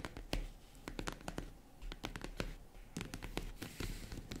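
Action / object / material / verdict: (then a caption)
tap / faux leather zippered case / faux leather / none. Long acrylic nails tap and scratch the top of a small tan faux-leather zippered vanity case, which is hollow and box-like. The result is a quick, uneven run of short, sharp clicks with a low, hollow body, mixed with soft scratching and brief, bright attacks that die away almost at once.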